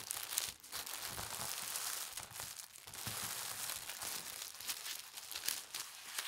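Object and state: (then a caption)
Tissue paper crinkling. A thin holly-print tissue paper sheet is folded into a strip and rolled over while fingertips with long nails press and smooth it. The paper gives a continuous, bright, airy crinkling with quick small crackles and little low end, swelling and easing in soft waves.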